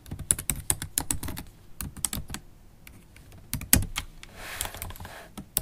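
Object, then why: Laptop keyboard, plastic keys in aluminium body. Long black holographic acrylic stiletto nails type on a MacBook Pro keyboard, black plastic keys set in an aluminium body. Quick bursts of sharp, bright clicks with low thuds beneath are broken by short pauses and a soft hiss. A final few taps end the clip.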